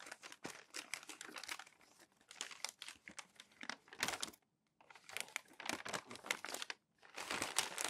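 Crumpled glossy magazine text pages lie on a stack while fingertips and palms smooth and rub the thin paper flat. Dense, bright crinkling and rustling come in quick bursts, pausing into near-silence briefly around the middle and again near the end.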